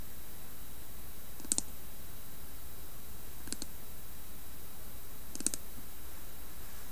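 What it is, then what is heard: Carved wooden lidded box. A hollow carved wooden lidded box, tipped on its side, is tapped and scratched along its carved side and rim with a long nail. Brief, bright clicks arrive in a few spaced clusters against a quiet, steady low hiss.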